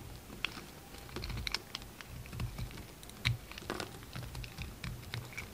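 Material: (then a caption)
Soap. A steel utility knife blade carves and scrapes a solid, hand-sized pink bar of soap held in the hand, leaving crumbly, powdery shavings. Soft, irregular scratching and crisp, bright ticks come through in quick bursts over a low, muffled rumble. Each cut fades almost immediately.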